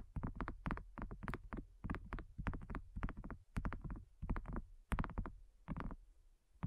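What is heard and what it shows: Long nails tap on a thin, solid, flat round pink dotted silicone coaster in quick, irregular clusters. Each tap is a soft, dull, low thud with a faint bright click of the nail, dying away almost at once with no ring.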